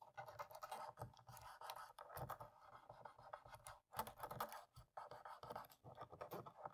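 A cotton swab held in fingers scratches and rubs between and over the keys of a black plastic laptop keyboard. The result is a dense, dry scratching texture centered in the low-mid range, with many quick scraping strokes, bright edges and brief pauses.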